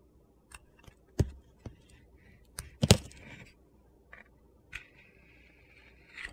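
A utility knife shaves thin white strips from a solid white soap bar with a yellow-orange glitter coating, held in hand. Short, sharp crunchy cuts and clicks are separated by quiet gaps, followed by a longer, thin scraping shave near the end.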